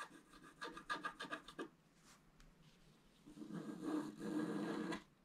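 A wooden stylus scratches and rubs the basin section of a flat black-coated scratch-art paper sheet held in the fingers. About eight quick, dry scratching strokes come first, then faint light scratching. It ends with a louder, sustained gritty rubbing that stops abruptly.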